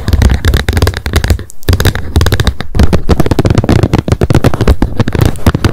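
Long nails tap rapidly on the plastic lid of a wet wipes pack lying flat on a fluffy mat, placed in front of an untouched binaural mic. Dense, quick clicky taps run continuously with short gaps, each with a dull low thump and almost no ringing.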